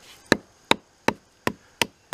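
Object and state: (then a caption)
Solid wood inside a dead hickory trunk. Six sharp, dry knocks strike the trunk of a dead hickory tree at a steady pace, each a short, bright thump that dies away almost at once. The tone is judged good, meaning solid wood inside, and the poorer sound heard elsewhere on the trunk comes from loose bark.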